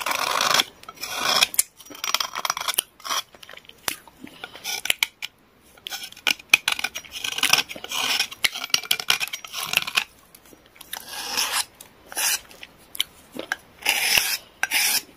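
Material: Clay.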